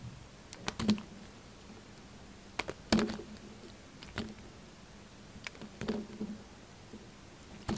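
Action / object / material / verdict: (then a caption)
scrape / bar of soap / soap / none. A hand-sized, solid green-and-white bar of soap is held in the hand and shaved with a utility knife blade. Irregular sharp scraping cuts and clicks ring out over a quiet background, with a faint low hum near 200 Hz between strokes.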